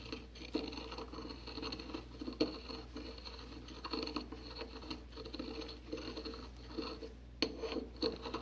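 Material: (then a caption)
Porcelain. A porcelain pestle grinds and scrapes fine white powder in circular motions inside a white porcelain mortar held in a gloved hand. A quiet, continuous gritty scraping and pattering runs throughout, broken by a few sharper clicks where the pestle knocks against the bowl.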